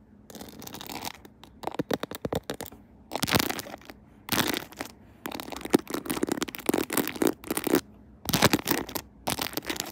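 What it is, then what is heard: Plastic phone case with rhinestone decorations. Long acrylic nails tap and scratch the back of a phone in a clear plastic case decorated with a pearl and rhinestone Hello Kitty and gems, with the phone mounted on a tripod. Bursts of quick, dry clicking and bright scratchy rasps come in clusters separated by short silences, each tap dying away almost instantly.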